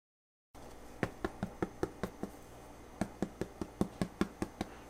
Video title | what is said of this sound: No Knead Bread Recipe | hear that thumping the bread is done